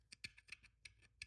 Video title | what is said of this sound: The Most Consistent Car Tested Thus Far — Maserati Shamal Factory Fresh - Peak Speed Lab 1:64 | feels like and sounds like plastic as do the wheels